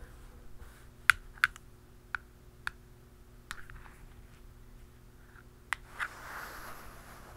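A hollow black plastic cap on an aerosol spray can is tapped with the tip of a metal pen and a blue plastic pen. Seven short, sharp, clicky taps come at irregular intervals, with a bright tone around 1.5 kHz and almost no ring. Between taps there is only a faint steady hum.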